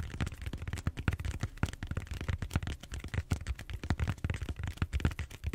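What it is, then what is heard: Styrofoam foam roller. Fingernails scratch and tap across the surface of a large purple bead-foam styrofoam roller held horizontally. The result is a rapid, uneven stream of short, dull, low thumps and soft scratchy crackles, with no ring after each tap.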